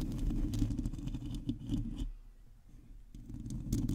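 Long teal acrylic nails on both hands scratch the hollow domed metal mesh grille of a black condenser microphone. The result is a dense, low, rumbling scratching with faint bright ticks. It drops to near quiet for about a second midway, then the scratching resumes.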